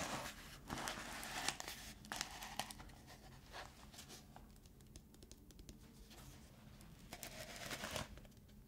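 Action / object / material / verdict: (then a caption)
scrape / plastic cosmetic tub lid / plastic / none. Fingertips and nails scratch and tap around the rim of a black plastic lid on a black plastic Lush cosmetic tub held in both hands. The result is quiet, dry, bright scratching with short clicky taps that fade quickly and come at an uneven pace, growing slightly louder near the start and end.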